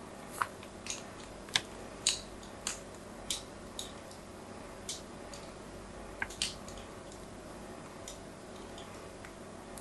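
A solid white soap bar with an embossed logo is held in the hand and scratched and scored with a small metal blade. It makes a series of short, dry, bright scraping clicks at irregular intervals, each dying away almost instantly, over a faint steady background hiss.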